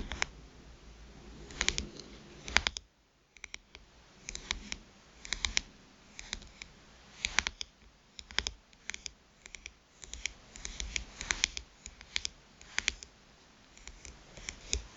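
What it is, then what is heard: Smartphone glass screen tapped with nails. Long pointed nails tap the glass screen of a smartphone lying face up. Sharp, bright clicks come in quick clusters with soft scratchy noise between them, pausing briefly near the three-second mark.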